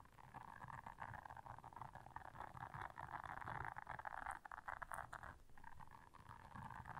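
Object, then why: Silicone bristle scrubber brush. Long manicured nails scratch across the dense soft bristles of a small, flat blue silicone scrubber brush lying on black fur. A steady, dense scratching rustle sits mostly in the middle range around 1 kHz. It swells and dips in loudness over about seven seconds, with only brief gaps.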